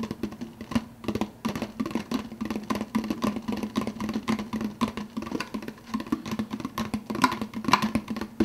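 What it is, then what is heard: Plastic soda cup with lid, fast-tapped. Fingertips rapidly tap the clear plastic lid of a large, empty, translucent blue plastic soda cup. The result is a dense, uneven patter of short, hollow plastic clicks with a low body and a faint ring near 1 kHz. Each tap dies away almost instantly.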